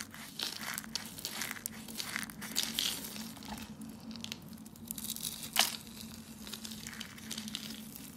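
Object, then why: Soap shavings. Pink, white and blue brittle dry soap shavings are crunched and crumbled between the fingertips over a heap of soap flakes. A dense, bright crackling and crinkling runs throughout, with one sharper crunch standing out near the middle of the second half. A faint steady low hum sits underneath.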